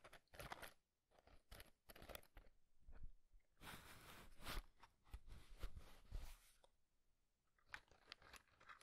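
A small printed cardboard matchbox, partly slid open with matches inside, is tapped by fingertips, and its tray is slid and pushed. Quick, dry crunchy taps alternate with longer scraping slides that are bright and papery. The sounds come in irregular bursts with short quiet gaps in between.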